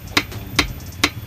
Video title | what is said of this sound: RVLOG #13 AKHIRNYA KEBELI MOTOR PERTAMA GAYS‼️😭😇 #vario125 #review #honda | tek tek tek kan bunyinya